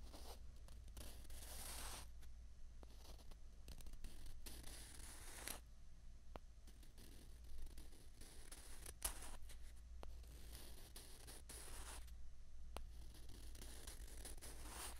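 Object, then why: Two plastic ping pong balls. Two small hollow white plastic ping pong balls are held in the fingers and scraped against each other. The result is quiet, bright rasping and rubbing in bursts, with occasional sharp ticks, over a steady low hum.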